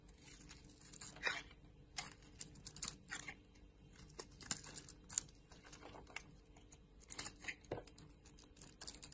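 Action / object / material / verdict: scrape / soap bar scraped with a metal blade / soap / none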